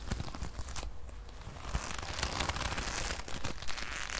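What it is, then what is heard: Leather jacket. A brown leather jacket sleeve is held in the hand, then stretched and crumpled between both hands with long nails close to a microphone. The result is a steady stream of soft leather creaks, crinkles and dense crackling taps with a low, muffled rumble, growing brighter and busier in the second half.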